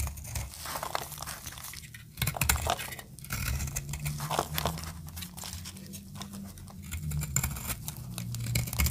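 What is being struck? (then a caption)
Bar of soap. A snap-off metal blade scrapes and cuts a solid orange bar of dry soap, making a dense run of dry crunching, scraping and crackling with a low thud underneath and bright crisp edges. Shavings crumble off as the blade works through the bar in steady, uneven strokes.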